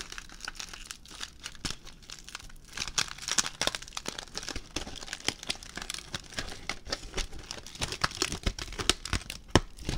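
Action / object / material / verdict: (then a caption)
scrape / aluminium foil ball / aluminium foil / none. A ball of crumpled aluminium foil is squeezed and stretched with fingertips, producing a continuous stream of sharp, bright crinkles and crackles. Dense, crisp pops fill the clip with no pauses, with a few louder snaps standing out near the end.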